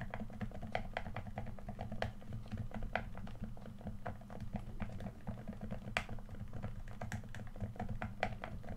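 Fingertips tap on the touchpad and body of a red, hand-sized, hollow plastic PS4 controller. Rapid, irregular, short dry clicky taps with a light hollow knock ring over a steady low hum.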